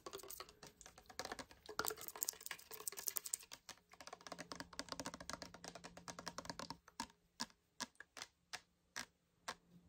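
Fingernails tap and scratch quickly on a medium clear glass bottle with a black cap, partly filled with clear liquid, making a dense run of bright, crisp clicks and scrapes. After about seven seconds this gives way to roughly seven slower, separate taps, with a faint low steady hum underneath.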